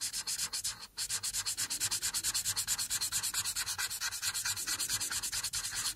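A single felt-tip marker rubs and scratches back and forth across a thin sheet of white paper lying flat on a dark surface while coloring in a robe on a coloring page. The strokes are a steady run of about 49 quick, bright, hissy scrapes with a brief pause near the first second. Each stroke is dry and short, with no ring.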